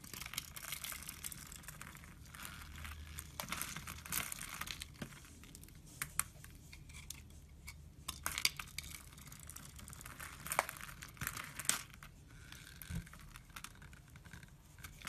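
A knife shaves a solid brown laundry soap bar, scraping and cutting so curls and chips fall away. The result is a steady run of bright, crisp, crinkly scraping with frequent short, sharp ticks and clicks over a faint low hum.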